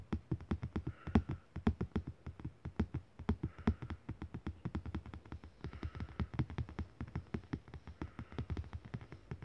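A flat printed paper art postcard with an abstract Pollock-style print, lying on soft bedding, is tapped and scratched with fingertips and short nails. The result is a steady run of quick, dull, low taps with a soft, papery scratching texture between them.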